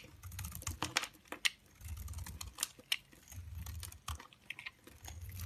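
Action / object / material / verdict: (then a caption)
scrape / bar of soap shaved with a knife blade / soap / none. A cream-colored solid soap bar, held in hand, is shaved with the blade of a yellow-handled utility knife. Quick, dry, bright scraping ticks and crisp snaps come in irregular bursts, with a soft low rumble beneath some stretches. Each shaving sound stops short with no ring.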